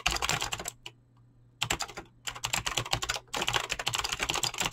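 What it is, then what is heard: Mechanical keyboard with PBT plastic keycaps. Fingertips fast-type on a mechanical keyboard with clicky green switches and PBT plastic keycaps. Rapid, bright clicky keystrokes come in dense bursts, broken by a short pause near the first second and a brief gap later on.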